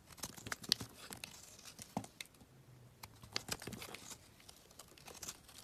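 A metal utility knife blade scrapes and carves chunks off a solid gray rectangular bar of soap held in the hand. The result is a run of crisp, bright scraping and crackling strokes with short, sharp shaving sounds and no ring-out.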